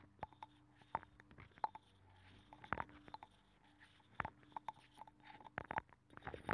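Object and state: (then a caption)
Abalone shell. A thin metal pick scratches and pokes inside a hollow, ear-shaped abalone shell with a nacre interior, mounted on a microphone. Soft, close-up scraping is punctuated by short, sharp clicks and taps that ring briefly with a hollow tone near 870 Hz, over a faint steady low hum. The result is a quiet, intimate stream of crackly scratches and light pokes.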